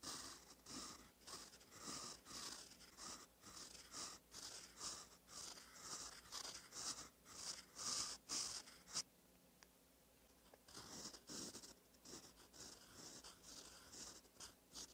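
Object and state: Fountain pen nib scratching on lined paper.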